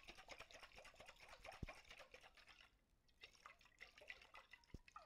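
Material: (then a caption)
Glass. A medium clear glass mason jar, hollow and partly filled with water, is held in both hands with long white-tipped nails and shaken and tilted so the water sloshes inside. Quiet, bubbly gurgles and drip-like splashes ripple through the mids and highs, easing into a near-silent lull around the third second before the sloshing resumes. Two brief sharp clicks stand out, near 1.6 and 4.75 seconds.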